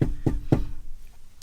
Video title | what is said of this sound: The Best Sink for a Camper Van (requested video on my restaurant wall mount hand sink) | you can hear when I knock on the sink it makes more of a thud than a loud knock